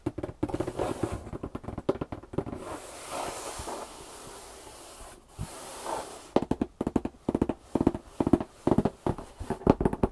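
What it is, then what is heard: Cardboard box. Long painted nails tap rapidly on the top flaps of a large, empty corrugated cardboard box lying flat on a table, making dry, hollow clicks. Midway, the taps give way to a soft, steady scratching hiss across the cardboard. Then quick bursts of tapping return.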